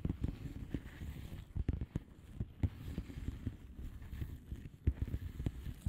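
Long polished nails on both hands tap and scratch the plastic bubble-wrap surface of a flat padded envelope. The sound is a quick, uneven patter of dull, low-pitched taps over a soft scratchy rustle, each tap dying almost at once, with almost no bright or high content.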